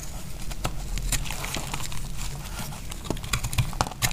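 A small solid piece of dry pink soap is cut with a utility knife blade. The slicing sounds crunchy, with a steady low rumble beneath sharp, bright clicks and crackles that grow more distinct toward the end.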